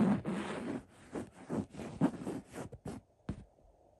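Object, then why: Linen throw pillow. Fingertips scratch along the black script letters printed on a cream linen-weave throw pillow. The result is a series of soft, dry, raspy scratching strokes, mostly low and mid-toned, that start as a longer rub and break into shorter, quicker scrapes before trailing off into quiet.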